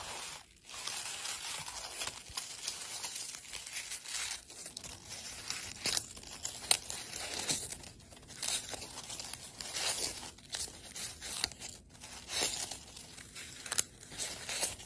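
Long pale blue acrylic nails and fingertips crinkle, crush and scratch through a wicker basket full of dry rose petals and buds. A dense, bright crackling and rustling runs throughout, punctuated by sharper, louder crunches and brief lulls, with almost no low end.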